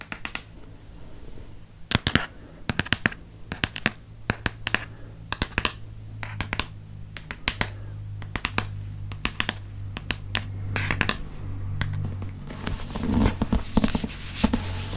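Fingernails scratch and tap across the cover, spine and back of a dark blue Harry Potter hardcover paper book as it is turned. Crisp, dry clicks with almost no ring arrive in quick, irregular bursts over soft, bright scratching. A steady low hum sits underneath throughout.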